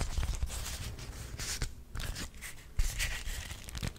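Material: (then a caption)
Waxed cotton. A small pink-purple beeswax-coated cotton wrap, folded and held close to the microphone, is crinkled, scrunched and rubbed by fingertips and nails. Dense, stiff crackling is heard over a heavy low rumble, with bright crinkly bursts and a sharper snap near the end.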